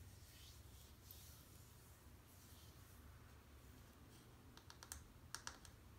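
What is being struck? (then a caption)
Bar of soap. Long painted nails tap and click on the surface of a small, solid, peach-colored bar of soap, which is dry and held in the other hand. Soft, faint scratching gives way to a cluster of sharp, bright clicks near the end, each dying away almost instantly over a steady low hum.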